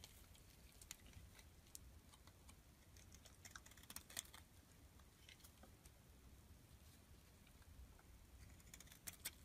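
A metal blade scrapes shavings off the face of a solid blue rectangular bar of soap held in the palm. Quiet, crisp scraping ticks and bright clicks scatter across a soft, steady low rumble, with a few sharper snaps standing out.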